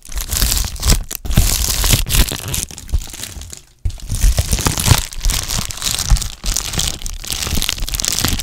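A medium-size, hollow white and blue Amazon Prime plastic bubble mailer is crinkled and squeezed with fingertips and painted nails. The result is dense, bright crinkling and crunching with a low rumbling body, broken by a brief near-silent pause just before the four-second mark.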